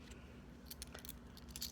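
Several metal British pound coins, taken from a fabric box, are clinked and jangled together, giving quick bright metallic clinks and rattles over a low steady hum. The coins are only handled; nothing is tested.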